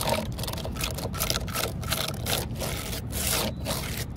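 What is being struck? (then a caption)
Weathered wooden post. Long fingernails and fingertips scratch and rub along the deep vertical grain cracks of an upright, solid, grey weathered wooden post or stump standing outdoors on paving. Repeated dry, raspy strokes come in quick bright bursts over a steady low rumble, keeping an even, continuous texture throughout.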